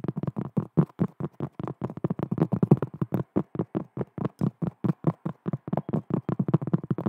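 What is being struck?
Cork trivet.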